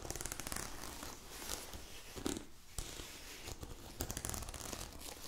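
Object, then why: Nylon padded jacket. A glossy black nylon down puffer jacket from The North Face, soft and padded, is held up and scratched and rubbed with long acrylic nails. The result is a steady crinkly, rustling fabric sound with quick scratchy bursts and a brief quieter pause partway through.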